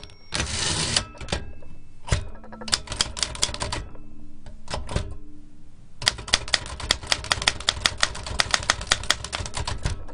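Fingertips type rapidly on a large black metal L.C. Smith & Corona typewriter with round keys, a hollow mechanical body and paper loaded. Its sharp, bright metallic key clacks come in quick bursts with short pauses, opening with a dense rush of noise and ending in a long run of fast, evenly spaced strikes.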